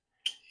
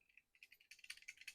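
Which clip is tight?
The first.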